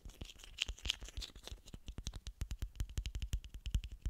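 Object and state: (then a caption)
Plastic bottle cap. A small, hollow blue plastic screw cap is tapped and scratched with fingernails while held close to the microphone. Soft scratchy rustling gives way to a quick run of sharp, dry clicks, each with a low thump and a bright tick that dies almost instantly. The taps grow more evenly spaced toward the end.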